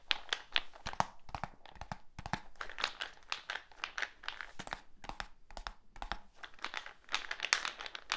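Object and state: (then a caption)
Plastic tub tapped with fingertips. A medium, hollow black plastic supplement tub with a lid and label is held in one hand and tapped on its side with the fingertips. The result is a steady stream of quick, dry, bright taps with a crinkly texture that stop almost instantly, in an uneven pattern of bursts and pauses.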